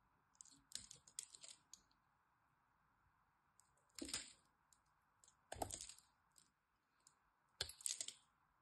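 A metal blade scratches and cuts into a solid green dry soap bar held in the hand, scoring it in a cross-hatch pattern. Groups of crisp, dry, high-pitched scraping clicks come in short bursts, with sharper cuts near 4, 5.5 and 7.7 seconds. A faint steady hiss runs underneath throughout.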